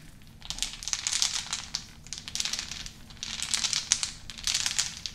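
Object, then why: Small unfinished wooden beads. A handful of small, solid, unfinished wooden beads is cupped in both hands over a wooden bowl and rolled and shaken between the palms and fingertips. The result is bright, dense clicking and rattling that comes in several bursts, each made of many tiny, sharp clacks with almost no ring.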